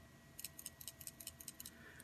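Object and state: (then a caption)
Soldering iron handle with a loose ball tilt switch rattling inside. A handle of an Aoyue 702A+ dual soldering station iron is shaken, rattling the small ball that rolls inside a little canister of its motion switch and contacts a couple of wires. The result is a quick series of bright, high-pitched ticks in close pairs over a quiet background with faint steady tones. This rattle is normal; the switch tells the station the iron is in use so the sleep timer does not start.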